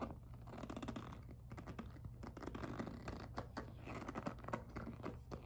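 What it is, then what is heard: PVC jelly handbag tapped with nails. Long nails tap quickly on the front of a hollow, glossy pink jelly PVC handbag with flower appliqués. The result is a fast, uneven patter of light, dry plastic clicks that stop short, over a steady low hum.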